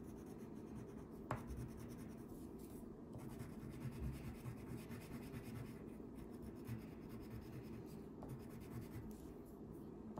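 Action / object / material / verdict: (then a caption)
scrape / wax crayon on a paper sheet / paper / none. A yellow wax crayon held in the fingertips rubs continuously across a thin paper coloring page lying flat on a wooden table, coloring in a fish. The result is a quiet, steady, low-pitched waxy scratching that stays even throughout, broken by four brief, slightly louder ticks.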